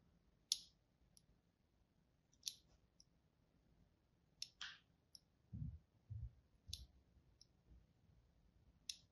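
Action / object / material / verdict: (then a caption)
scrape / bar of soap scraped with a craft knife tip / soap / none. A palm-sized bar of green-and-white striped soap is held in one hand and scored across its surface with the fine tip of a craft knife blade, in short cutting and scratching strokes. The knife is held by a hand with long painted nails. Sharp, bright clicks and brief scraping rasps ring out over a quiet background, with a few soft low thumps in between.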